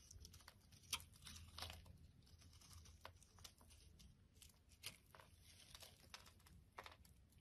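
A solid white ribbed bar of soap, held in the hand, is scraped with a metal blade into flakes. Quiet, dry, bright scraping and crackling strokes come in a string of short bursts over a low, steady rumble, with a few sharper cuts standing out.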